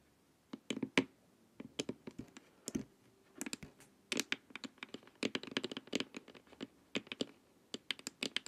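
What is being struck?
Hollow plastic face mask.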